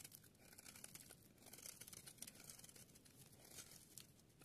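A palm-sized dry yellow soap bar held in the hand is repeatedly shaved and scraped with a small metal blade, and the shavings fall onto a pile of soap flakes. The sound is a dense, quiet run of bright, crisp crinkling scrapes with short dry crunches and little ring.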